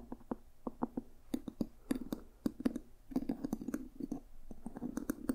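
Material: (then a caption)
Leather, brass. Fingertips and nails tap on a small, solid, dark red leather journal and its brass owl ornament on the cover. The result is a quick, irregular run of soft, dry clicks with a low-mid body around 260 Hz and very little ring. Brighter, sharper ticks mark the nail and brass hits.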